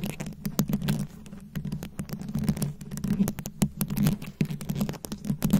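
Long acrylic nails rapidly tap and scratch a fist-sized microphone head fully covered in small glued-on rhinestones and beads. The result is a dense, uneven stream of sharp clicks and scratchy rustles over a steady low, warm tone near 200 Hz. The sharp transients reach up into the highs and die away almost instantly.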